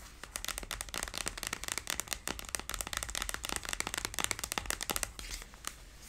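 Long blue nails rapidly tap and scratch a large hollow cylindrical cardboard tube box for a hair tool, which has a price sticker and lies on its side. A dense stream of crisp, bright clicks comes with light scratchy rustling; each tap stops almost instantly with no ring. The tapping thins out and fades in the last second.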